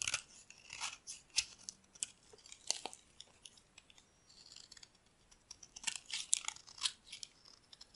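A solid white bar of dry soap held in the palm is carved with a metal utility blade, and crumbly flakes fall away. Quiet, bright, crisp scraping and crunching cuts come in irregular bursts with almost no low end.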